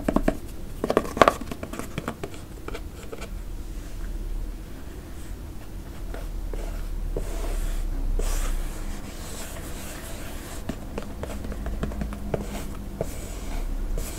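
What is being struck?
Leather sneaker with rubber sole.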